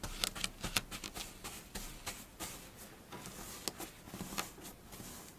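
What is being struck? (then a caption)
Kinetic sand. A flat layer of pink kinetic sand on a dark surface is poked and scratched with the tips of long blue fingernails. Soft, crunchy scratching runs throughout, broken by sharp, bright clicks at an irregular pace.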